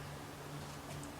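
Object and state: Nothing is struck.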